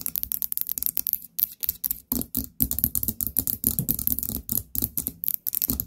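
Long painted nails tap rapidly on a small orange ceramic pumpkin-shaped candle jar with a lid and a gold stem knob. Each tap gives a bright, clicky top and a short, hollow body around 220 Hz that dies away almost at once. The taps come in quick bursts separated by brief pauses.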